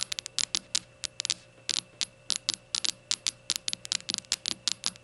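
Long nails tap and scratch the glossy surface of a small, hollow, rainbow-glazed ceramic shot glass before it is lifted. About 27 sharp, bright clicks land in a quick, uneven rhythm, each dying almost instantly, over a faint steady hum.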